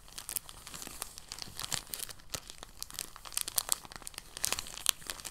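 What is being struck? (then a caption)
Thin soft plastic bag. Fingertips pinch, fold and crinkle a thin, empty, translucent plastic bag. The result is a dense run of sharp, bright crackles and soft crinkling with occasional louder snaps. Almost nothing sits in the low end.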